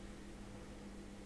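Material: Nothing is struck.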